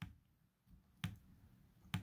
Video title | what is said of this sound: Shotgun Reloading - What is a HULL BASE | it sounds duller because it's paper